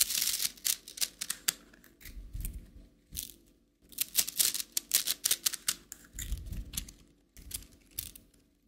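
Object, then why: Plastic coil spring toy. Fingertips and nails tap the collapsed coils of a plastic rainbow slinky, a coiled plastic spring toy, then stretch it upward so the coils click. The sound is a quick run of bright, dry clicks and rattles in clustered bursts with brief quiet gaps, plus a soft low rustle as the coils move.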